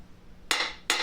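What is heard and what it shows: A painter's tool taps a floor tile twice, outside the marked border of the hollow area. Each tap gives a short, bright click centered around 2 kHz that fades quickly, with almost no low end. The tile sounds solid in this spot.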